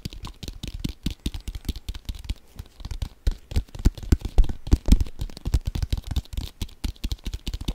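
A brown leather American football, hollow and inflated, is held in both hands and speed-tapped with fingertips and nails. Fast, uneven bursts of dull, hollow thumps, deep and boomy with almost no ring, are mixed with faint bright nail clicks. The taps run on continuously, rising and falling in loudness throughout.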